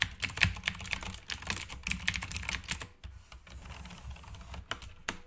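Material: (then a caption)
Plastic. Fingertips type quickly on a black backlit mechanical keyboard with plastic keycaps, producing a dense run of sharp, bright clacks with a low thud under each press. After about three seconds the typing thins out to a few scattered, softer key presses.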